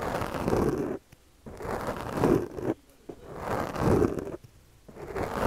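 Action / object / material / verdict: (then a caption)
scrape / foam microphone windscreen raked by a plastic comb / foam / none. The teeth of a yellow plastic comb, held in the fingers, scratch and rake across a soft, porous black foam windscreen on a microphone while the other hand steadies the mic. Four passes produce a close, dense, low-mid rough scraping and crunching rustle, each separated by a short silence.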